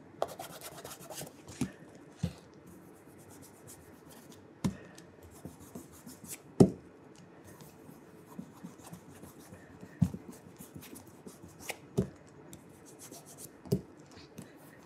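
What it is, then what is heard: Leather dress shoe. Cloth-covered fingers rub along the toe and vamp of a burgundy leather oxford dress shoe, held up with a wooden shoe tree inside. Quiet, low, steady rubbing and scuffing is broken by occasional short, sharper knocks as the cloth drags and catches on the leather.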